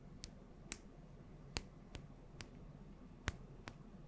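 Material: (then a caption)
Glass. Long nails tap on a small glass bottle with a gold cap, filled with yellow oil, close to the mic. Eight short, bright clicks land at irregular intervals over a low, steady background hiss, each one dying away almost instantly.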